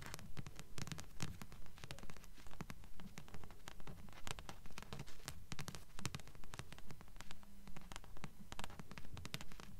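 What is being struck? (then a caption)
Thick paperback book with paper cover. A thick Anne Bishop *Black Jewels* paperback with a blue paper cover is held upright while fingers and nails rapidly scratch and tap its cover. The result is a steady, rhythmic stream of dry, short scratches and soft taps with a muffled, low-heavy tone and almost no ring.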